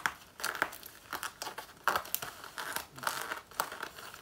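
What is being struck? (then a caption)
Faux leather jacket. Long natural nails scratch and claw at the front lower panel of a black faux leather jacket worn on the body. The result is a run of dry, crinkling scrapes and sharp clicking strokes centered in the upper mids with bright edges, each stroke cutting off quickly against a quiet background.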